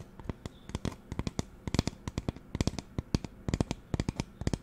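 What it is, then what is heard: Plastic spray bottle. Fingernails tap quickly on the body of a hollow pink plastic spray bottle with a white trigger head. The result is a rapid, irregular run of short, dry clicks, each with a dull low knock and a bright, crisp edge that dies away almost instantly.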